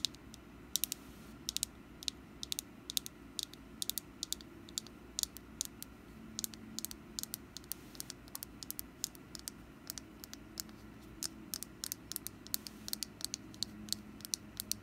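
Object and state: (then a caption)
Wax pumpkin candle tapped with fingernails. Long black nails tap the surface of a small, solid orange wax pumpkin candle held in a hand. The result is a steady, uneven run of short, dry, bright clicks with almost no ring, over a faint low background hiss.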